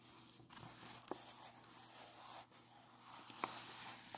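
Fingertips and a palm rub and smooth across a large, flat, unfolded letter made of thin, aged sheet-music paper decorated with collaged floral and portrait cutouts, lying on a lace tablecloth. The result is a soft, steady, bright papery hiss with faint crinkles and a couple of small, sharper ticks.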